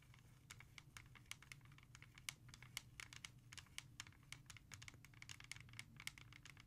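Long nails tap fast and scratch on the back of a hollow plastic CD jewel case held in the hand. Rapid, sharp, bright clicks with a hollow tone around 2.2 kHz cut off almost instantly, over a steady low rumble. Quieter scratchy patter fills the gaps between the louder taps.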